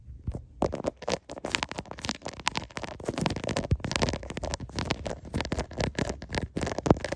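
Fingertips and short painted nails rapidly tap and scratch the back of a hand-sized smartphone in a clear plastic case, near the camera lens, while the phone is held in both hands and records itself. The result is a close, dense stream of sharp clicks and scratchy crackles over a low, muffled rumble, with a few louder taps standing out.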